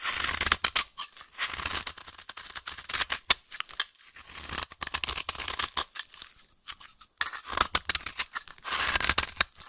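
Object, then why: Bar of soap. A solid beige-yellow vintage bar soap is held in hand and carved and scraped with a metal blade. The sound is a run of dry, crisp scraping and cutting strokes, bright and hissy with almost no low end, in bursts broken by short pauses.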